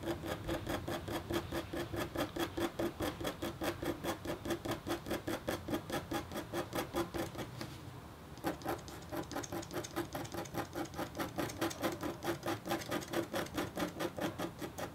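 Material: Copper foil.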